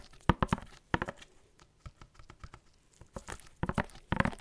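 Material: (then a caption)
Cardboard. Fingertips in white latex gloves tap and scratch a tall, hollow, black-and-white printed cardboard Barber Jack box held upright against the microphone. Quick clusters of dull, hollow taps open and close the clip, with quieter papery scratches and light taps in between.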